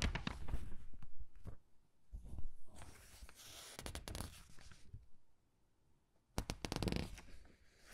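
Both hands hold open a thin, glossy paper gift catalog while fingertips turn and smooth its pages. Bursts of crisp rustling and crinkling ride over soft, low handling thumps, broken by a quiet pause before a final brisk flurry of page sounds.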